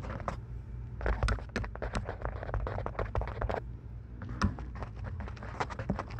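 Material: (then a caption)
Plastic. Long acrylic nails tap and scratch the hollow plastic earcups and headband of lavender and white plastic over-ear headphones fitted over a binaural microphone. It makes a rapid run of close, crisp clicks and scratchy rustles with a hollow knock, over a steady low hum. The tapping pauses briefly near the middle before resuming.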